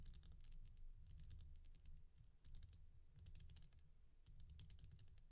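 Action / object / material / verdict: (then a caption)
tap / resin bead stretch bracelet / resin / none. Long nails tap and scratch the fronts of the glossy red-and-black oval beads on a resin bead stretch bracelet held upright in the hand. Quick, bright clicking ticks come in bursts over a steady low hum.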